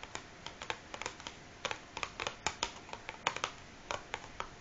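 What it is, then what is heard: Cardboard matchbox tapped with fingernails. Long fingernails of both hands tap and scratch the top of a large, closed cardboard matchbox resting on a wooden table. The result is an irregular run of about twenty crisp, bright clicks that die away almost instantly, with a faint papery scratching between them, all at a low, intimate volume.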